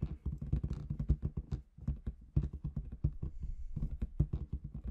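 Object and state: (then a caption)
Latex balloon with confetti inside. Long red nails tap rapidly on a large inflated clear latex balloon with confetti inside. The result is a quick, irregular patter of dull, low, muffled thumps that stop almost instantly, with a brief pause midway.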